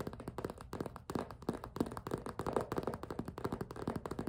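A clear PVC zippered cosmetic pouch, hollow, made of vinyl with pink trim, has its thin plastic panel gripped and tapped with long pink nails. The result is a quick, irregular run of short, dull plastic taps and crinkly grips, centered in the low-mid range with little high-end brightness.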